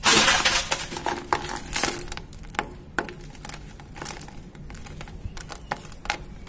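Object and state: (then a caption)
Dry cement powder and lumps. Fingertips with painted nails crush and crumble clumps of loose, dry grey cement powder in a plastic bucket and stir the powder. The result is an irregular series of sharp, bright, gritty crunches and crackles, loudest at the start, over a soft, sandy hiss. Each crunch ends quickly without ringing.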